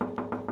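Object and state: Steel vehicle panel.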